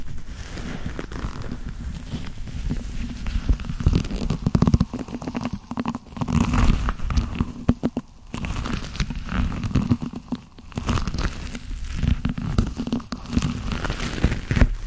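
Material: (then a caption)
Leather. Black leather-gloved hands rub steadily and grip each other's fingers. This produces dense, low, rumbling creaks and soft crackles that swell and dip in uneven bursts, with very little high-end content.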